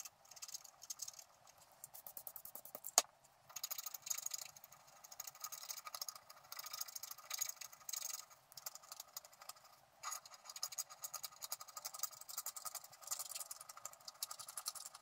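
A wooden stylus scratches the black wax coating off a flat scratch-art card, working over a squirrel's tail and body. Quick, dry, bright scratching strokes come in bursts with short pauses, plus one sharp click near the third second.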